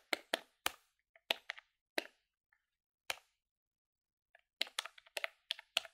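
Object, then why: Plastic desktop calculator keys. Long-nailed fingertips quickly press the keys of a grey plastic desktop calculator with a hollow body, held on a palm over a wooden desk. Sharp, bright, dry clicks and taps come in irregular bursts with pauses between them. A rapid cluster of clicks arrives near the end.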